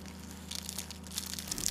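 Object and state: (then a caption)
Crispy baked pastry. A baked layered çörek pastry is broken apart by hand, giving a run of bright, dry crackles and crunches over a steady low hum. The crunch shows the outside is crispy and the pastry is baked through.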